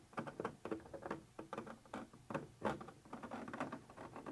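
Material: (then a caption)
Plastic. A thin metal pointer tip scratches and taps across a white translucent textured plastic surface. It makes a quiet, rapid series of dry, crackly scrapes and light ticks, each dying away almost at once, with most of the sound in the midrange.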